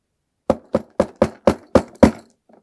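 A hand knocks on a hard mystery object inside a cloth bag, making seven short, dull knocks at a steady pace. A faint rattle follows, and the knocking shows the object is hard rather than soft like a pillow.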